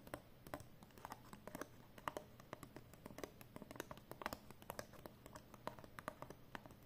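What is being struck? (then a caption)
Folded paper banknote. Long painted nails tap and rub a folded 20 euro banknote of thin, flat cotton paper as it is held and handled. Quick, dry, crisp taps and soft papery rubs follow one another in an irregular stream, each dying away at once. A faint steady low hum sits underneath.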